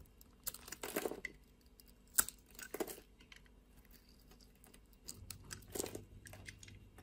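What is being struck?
Bar of soap.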